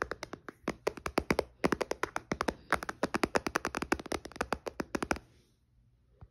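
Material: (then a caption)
Glass. Fingertips and nails tap quickly on the glass touchscreen of a white iPad, switched off and sitting in a case on a blanket. About forty short, sharp, bright clicks come in uneven bursts with almost no low end and no ring. The tapping stops just after five seconds, leaving near silence and one faint final tap.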